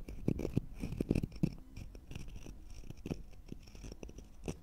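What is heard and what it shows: Two matching thin, solid, round natural-wood slices with bark edges are held one in each hand above microphones while the fingertips and short nails scratch their flat surfaces. The result is a dry, irregular scratching with soft, low, dull taps, louder and busier in the first second and a half and then quieter and steadier, with brief bright flecks and almost no ring.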